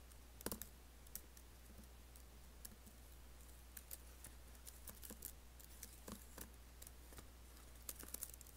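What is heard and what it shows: Fingertips type and fingernails tap on the black plastic keys and space bar of an Apple laptop keyboard with an aluminium body. Short, dry, bright clicks come in irregular, separate bursts over a steady low hum.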